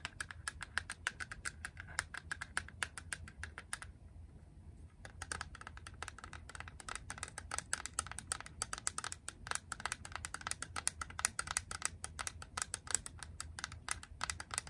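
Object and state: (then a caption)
Hard plastic cartridge tapped with nails. Long press-on nails rapidly tap the front and edges of a small, hollow, grey hard plastic Game Boy cartridge, producing dense streams of sharp, bright clicks with almost no ring. The tapping pauses briefly around the four-second mark before resuming just as quickly, over a faint low hum.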